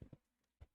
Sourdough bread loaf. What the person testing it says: if it sounds like it's hollow, then it's a good way to check to see if it's done